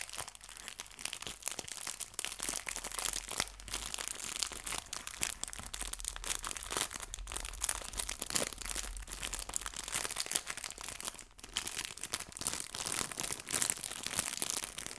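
A small clear plastic bag of artificial fabric leaves, unfolded after being squeezed, is crinkled with fingertips and long nails. The result is a steady stream of dense, bright, crackling plastic crinkles with tiny sharp snaps and very little low end. The sound briefly quiets around the eleven-second mark.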